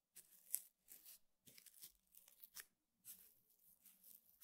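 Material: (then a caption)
Rattan. One hand pokes and scratches the weave of a flat, square woven rattan table mat with the bristle tip of a small makeup brush. The result is quiet, dry, bright scratchy bursts with a crinkly, tearing texture, coming in irregular clusters with short silences between them.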